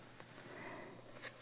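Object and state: Nothing is struck.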